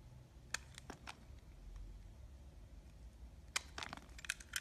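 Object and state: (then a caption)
Glycerin soap being cut. A solid translucent yellow-green glycerin soap block, held in the hand, is sliced and scraped with a black box cutter. Sharp, bright clicks and crisp scraping snaps come in irregular bursts: a few in the first second, then a denser cluster near the end, over a quiet low hum.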